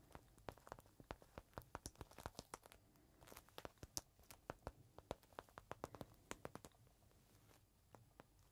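A small clear plastic bag holding a folded green microfiber cloth is held in the hand, squeezed, and tapped with fingertips. This produces a quiet, rapid series of sharp, bright crinkles and clicks, each dying away almost instantly. A short lull comes just before the 3-second mark and a sparser stretch near the end.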